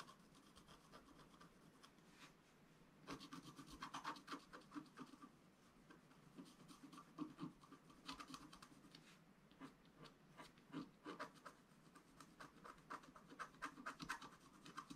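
A wooden stylus scratches the coating of a flat scratch art paper sheet lying on a table. Quiet, dry rasping strokes come in uneven bursts, some quick and clustered, others slower and softer, each stopping dead with no ring.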